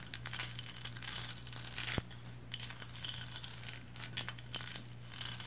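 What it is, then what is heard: Resin lighthouse figurine scratched with long nails. Long blue nails scratch up and down the textured bands of a small painted resin lighthouse figurine standing upright. Dense, bright, crinkly rasps come in quick bursts over a steady low hum, with one sharp click near the middle.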